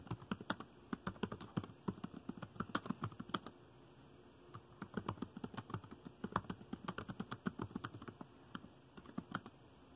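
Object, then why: Plastic laptop keyboard keys. Fingertips tap quickly on the dark plastic keys of a laptop keyboard in fast typing. Dozens of short, dry clicks with a soft low thump come in rapid bursts, broken by a brief pause partway through before the typing resumes.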